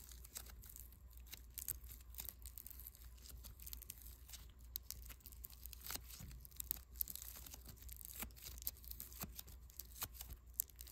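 A small lump of soft, solid white foam bead clay is kneaded, pulled apart and pressed back together with fingertips. It makes dense, quiet crackling and tearing sounds, with many sharp, bright clicks over a steady low hum.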